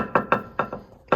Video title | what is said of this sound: I Blew Up The Transmission in the New Farm Truck | sounds like glass